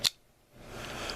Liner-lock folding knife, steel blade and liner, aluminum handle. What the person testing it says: a somewhat hollow sounding lockup if you listen to that. Okay, not super hollow.